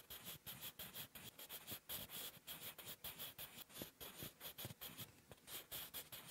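A wooden graphite pencil with a blue end, held in the fingertips, writes cursive letters on a flat sheet of lined writing paper resting on a firm surface. The quiet, bright scratching comes in rapid strokes that rise and fall with each letter, with very little low end and almost no ring after each stroke.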